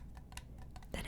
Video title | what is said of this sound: ASMR Organizing my Absolute Rarest and Favourite Cards ✨ (soft spoken) | it sounds hollow right now because there's nothing inside of it it's just empty